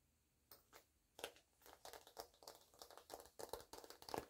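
Long-nailed fingers slide the pull of the black zipper along the top of a small, flat cosmetic pouch that looks empty or nearly empty, then both hands handle it. The pouch is glossy coated, oilcloth-like fabric, white with black, yellow and white polka dots. Quiet, irregular bursts of bright zipper rasping and crinkly fabric rustling follow one another closely, each dying away almost at once with little low end.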